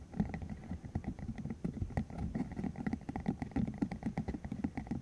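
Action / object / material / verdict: flick / spiky silicone tube / silicone / none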